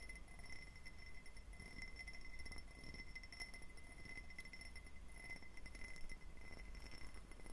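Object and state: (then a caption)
Faceted glass tumbler. A clear, diamond-patterned faceted glass tumbler, hollow and empty, is tapped and lightly scratched on its facets with fingertips and short nails. The result is a quiet, steady stream of soft clicks, clinks and scratchy ticks, with a faint glassy ring near 2 kHz and high shimmering overtones over a low background rumble.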